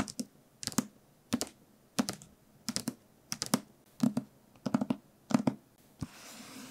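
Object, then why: Paperback book. A medium paperback novel with a glossy printed cover and solid paper block, held in one hand, is tapped and scratched with the fingertips and short nails of the other hand. Quick, dry clicking taps land in short clustered bursts, each dying away almost instantly. The clip ends with one last tap followed by a soft, steady scratching hiss.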